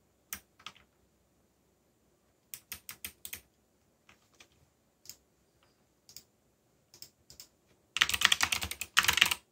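Fingertips press keys on a backlit mechanical keyboard with black plastic keycaps and a yellow backlight. Short, bright clicks come in sparse, irregular pairs and small clusters. The clip ends in a dense burst of rapid typing over its last second and a half.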